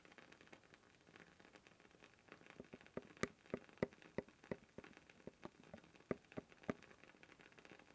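Fingertips tap and scratch steadily on the blue plastic lid of a labeled cylindrical canister held upright, making a soft, rain-like patter. Quick, dry clicks with a hollow midrange tone rise above the constant scratchy rustle. The strongest taps come through the middle of the clip.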